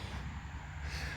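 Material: Nothing is struck.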